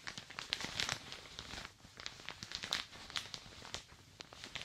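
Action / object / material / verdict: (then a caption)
tap / thin plastic shower cap / plastic / none. Fingertips and long dark nails tap and scratch across the top and sides of a thin plastic shower cap fitted on a dummy head. The result is a quick, irregular patter of bright, crinkly ticks, like rain falling on plastic.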